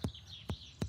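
Three taps on the side of a cow's abdomen over a suspected left displaced abomasum give short, low thumps with a tinny, drum-like ping. The ping indicates the abomasum is filled with gas, which is abnormal and distinct from the surrounding area.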